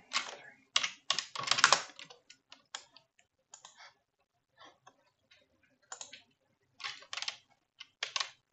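Both hands type with fingertips and nails on a black plastic computer keyboard resting on a wooden desk. Bright, clacking key clicks come in uneven bursts separated by short pauses. Each click dies away almost instantly.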